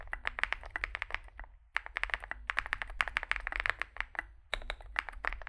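Fingertips type continuously on a small Zoom65 65% mechanical keyboard with a dark case and white and grey plastic keycaps. The result is a rapid stream of short, dry, bright clacks centered around 1.7 kHz, with no ring after each keystroke. Brief pauses break the typing at about 1.6 seconds and again at about 4.5 seconds.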